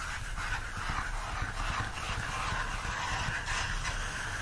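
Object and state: Nothing is struck.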